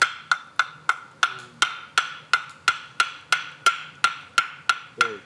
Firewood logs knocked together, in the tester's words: 이렇게 맑고 가벼운 소리가 갑니다